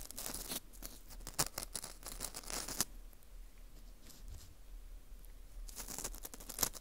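A dry, porous ring of dried wheat gluten (fu) is held in a gloved hand while metal tweezers scrape inside its hole. The result is bursts of bright, crinkly scratching and tearing-like rasps. Busy stretches near the start and end surround a quieter middle.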